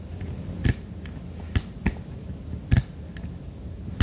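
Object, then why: Silicone night lamp. Fingertips quickly tap the underside of a white silicone duck night lamp with its base, making several short, dull taps with a low thump and brief high clicks. Each tap dies away almost instantly over a quiet background hiss.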